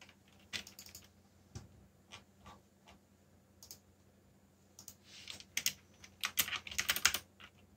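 Both hands type with their fingertips on a backlit mechanical keyboard with black plastic keycaps. Short, bright, clicky keystrokes with almost no ring-out come scattered and irregular at first, then build into quicker, louder bursts toward the end. A faint steady low hum sits underneath.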